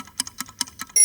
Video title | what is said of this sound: Dark German Bread Masterclass - Learn how to make Whole Grain Rye Mixed Bread yourself from scratch | let's do quickly the knock test and this bread sounds so hollow job well done